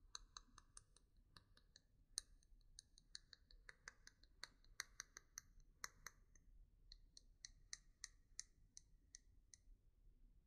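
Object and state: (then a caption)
Wooden pencil. A single solid, yellow-painted wooden pencil with an eraser end is held in both hands while fingernails tap and click along its painted shaft. About thirty short, dry, bright clicks sound in an irregular stream over a faint low background hiss, each stopping almost instantly.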